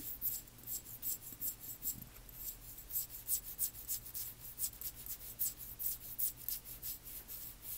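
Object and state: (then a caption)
Amber glass dropper bottle. Long nails scratch and tap the paper label and glass of a small amber glass dropper (serum) bottle held in the hands. It makes a quiet, steady run of bright, dry scratching strokes over a faint low hum, each stroke short with almost no ring.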